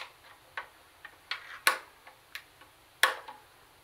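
Long nails tap on the black plastic CD lid and small buttons of a plastic CD cassette boombox. The result is a series of sharp, dry, bright clicks at an uneven pace, each dying away almost instantly, with a few louder taps standing out.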